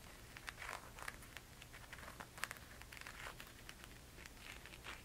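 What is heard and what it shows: A single silver rhinestone-strapped flat thong sandal with a tan leather footbed is held in the hands while long red-painted nails scratch and tap across the straps and footbed. The result is a quiet run of crisp, bright clicks and scratchy crinkling over a soft low hum, with a few sharper taps standing out.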